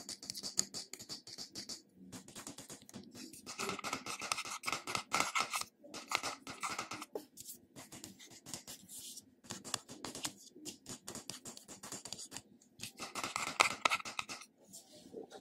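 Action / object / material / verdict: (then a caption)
scrape / small glass jar with metal lid / glass, metal / none. Fingernails scratch and tap the silver metal-look lid and the glass side of a small glass cosmetic cream jar. The result is a quiet, continuous stream of bright, dry scratches and crisp clicking taps, coming quickly and unevenly at about four per second. Each tap dies out almost instantly, and there are a few brief pauses between bursts.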